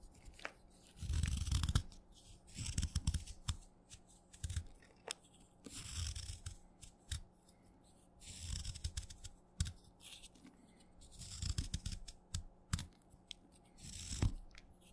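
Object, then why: Chalk stick cut with a small blade. A small, soaked, soft black chalk stick held in the fingers is shaved with a small metal blade, peeling off thin curls. Repeated soft, low scraping strokes come in bursts, separated by sharp little clicks and brief quiet gaps.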